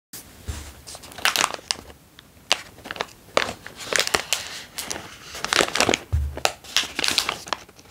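A hand-sized, opened and mostly empty foil-lined plastic Californian Almonds snack bag is crumpled and crinkled with the fingertips of both hands. Bursts of bright, crackly rustling come in irregular waves, with brief dull low thumps near the start and again toward the end.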